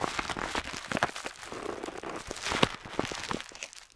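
A metal dip pen nib, held in the fingertips, scratches over a flat parchment-style paper map on a table while tracing island outlines. Quick, irregular dry strokes make bright, crinkly scratching sounds with faint papery rustle and no ring.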